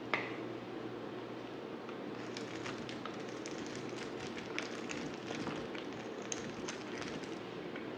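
A dry, solid black bar of soap is scraped and shaved with a utility knife blade. A steady, soft scraping hiss runs throughout, broken by scattered bright crackling clicks as the blade catches and flakes come away.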